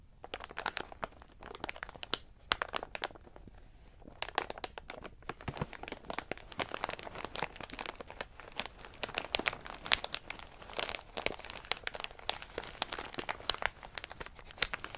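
Fingertips press and scratch a medium plastic snack bag full of in-shell pistachios, then hands lift and squeeze it. A dense run of quiet, bright crinkles and crackles follows, with the plastic rustling and the shells rattling inside, briefly easing off around the fourth second before picking up again.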